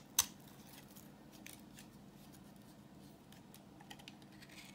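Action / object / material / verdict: scrape / bar of soap / soap / none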